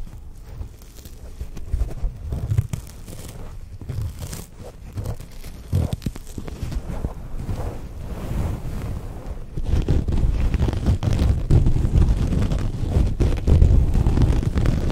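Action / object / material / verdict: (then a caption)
scrape / double-sided soft and bristle sponge / foam, bristle / none. A hand-sized blue-purple double-sided sponge, with a soft side and a bristle side, is held in both hands while fingertips and nails scratch and rub its surface. The result is a steady, dense run of low, muffled scratching and crunchy rustling, which grows louder and fuller partway through and stays that way to the end.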